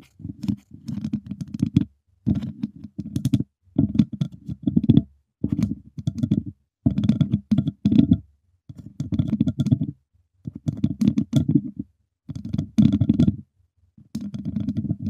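The tips of two wooden chopsticks tap and scratch the hollow, dome-shaped wire mesh grille of a silver microphone. Dense, dry clusters of rapid clicks and scrapes come in short bursts separated by brief silences. The sound is thick and low-heavy, with faint bright edges and almost no ring after each touch.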